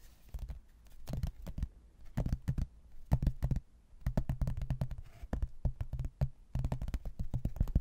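A rigid laminated hardboard placemat, a solid thin board with a printed landscape photo, is held in both hands and tapped with fingertips and nails across its surface. Quick runs of short, dull, low knocks with a hollow tone near 130 Hz die away almost instantly. They come in clustered bursts separated by brief quiet gaps.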